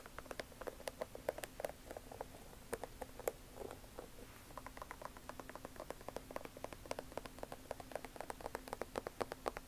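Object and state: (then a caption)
Canvas sneaker rubber sole tapped with nails. Long nails scratch and tap the white rubber sole sidewall of a Vans Old Skool checkered canvas sneaker held upright. The result is quiet, rapid, irregular clicks with dry, short, bright ticks and soft scratching over a faint steady low hum.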